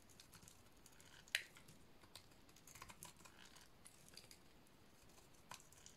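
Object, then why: Soap bar cut with a metal blade. A hand-sized, solid red bar of dry painted soap is scraped and shaved with a metal utility-knife blade, with pink curls falling away. Quiet, dry, bright scratching and crisp little scrapes run throughout. One sharp, louder snap stands out near the start, and a few smaller ticks follow later.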